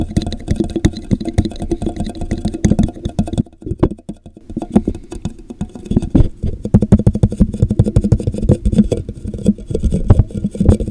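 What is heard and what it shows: Fingertips tap and scratch the base of a hollow, empty, translucent plastic drinking cup with a popsicle print, turned upside down over a microphone. The result is a rapid stream of muffled, boomy taps and rubbing, with a brief quieter stretch in the middle before the dense tapping resumes.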